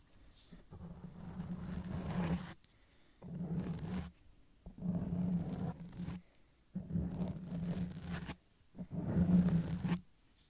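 Long press-on nails scratch slowly over a black foam windscreen covering the head of a silver Blue Yeti microphone, the soft porous foam sitting over a hollow grille. Five separate passes of muffled, rumbling scraping are heard, each building up and then cutting off into near silence. The sound is heavy in the low end with a steady low hum-like band.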